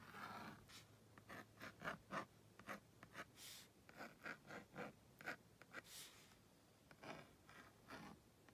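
A purple plastic magnetic stylus held in the fingers is dragged across the honeycomb-textured screen of a tablet-sized, cream-coloured plastic magnetic drawing board, drawing a house. It makes a quick series of short, bright scratching strokes with brief gaps between them, over a faint steady low hum.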